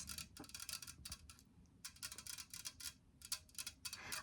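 Long nails tap rapidly on an unopened stubby metal can of lemon and ginger prebiotic soda. The taps come as bright, clicky bursts with no ring, grouped in quick flurries separated by brief pauses.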